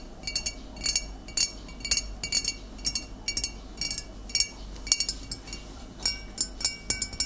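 Fingernails of both hands tap on the glass shoulder and neck of a full glass vinegar bottle of amber liquid with a metal cap. The result is a loose, uneven run of bright, short clinks that die away almost instantly, with faint ringing tones over a low, steady background hum.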